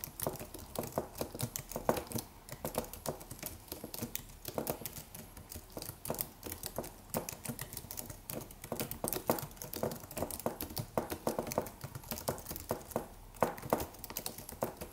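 Fingertips of both hands type rapidly on a slim white Apple-style wireless keyboard with an aluminium body and white plastic keys. The result is a quiet, steady stream of short, dry plastic clicks and taps that fade almost instantly, centred in the midrange with a little bright edge.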